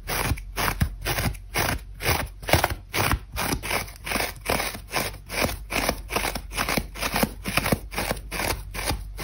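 Long acrylic nails scratch fast and aggressively into a hand-sized, dry, brittle grey-beige foam sponge with its scouring layer already removed, held in one hand. The sponge is solid, porous and old. Rapid, uneven bursts of crispy, crunchy scraping repeat a little over twice per second, each a short dry rasp with a low thump underneath. Grooves are left in the foam and crumbs break off.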